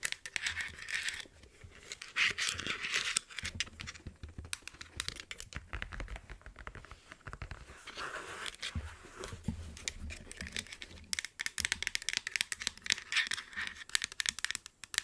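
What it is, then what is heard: Plastic and faux-leather headphones. Long nails scratch and tap a pair of black over-ear headphones held in the hands, working over the hollow plastic headband and the padded faux-leather ear cups. The result is a dense, bright stream of crackly scratching and quick dry ticks with no ringing, swelling and easing in bursts, with a faint low rumble underneath.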